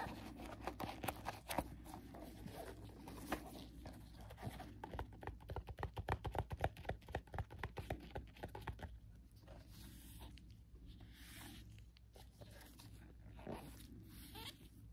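Nitrile-gloved fingertips tap and rub the surface of a small, hollow, printed cardboard box of plastic bandages. Quick, dry taps build into a dense burst of hollow knocks near the middle, then give way to soft, bright scratching and rubbing over a low steady hum.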